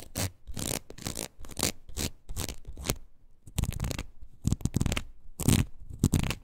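Long nails scratch across the ridges of a red rubber wood-graining rocker with a wooden handle. The result is a run of repeated raspy, scratching strokes, each with a low rubbery thrum under a bright, hissy edge, separated by brief pauses.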